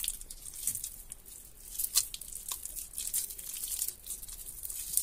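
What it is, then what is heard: Water-soaked mushy bar soap. Hands squeeze, knead and tear a soft, water-soaked, mushy bar of soap with their fingertips in a clear plastic tub of soapy water. The result is a quiet, steady stream of wet, crackling tears and squishy crinkles, bright and hissy with little low end and a few sharper snaps.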